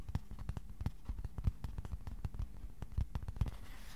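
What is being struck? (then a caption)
Thin cardboard sheet. A thin, flat white cardboard sheet about A4 size, held at an angle, is tapped with fingertips in a quick, uneven run of soft taps. Each tap is a short, dull thud with a low body and almost no ring, over a faint steady hiss.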